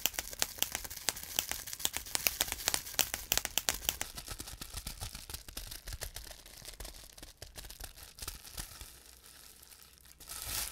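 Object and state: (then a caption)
Plastic bubble wrap being popped. Fingertips squeeze and crumple a large sheet of clear plastic bubble wrap, popping its air-filled bubbles in a fast series of sharp, bright snaps over a crinkling rustle. The pops come densely at first, then thin out and soften, ending in a brief swell of crinkling noise.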